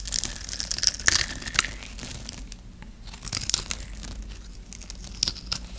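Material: Soap.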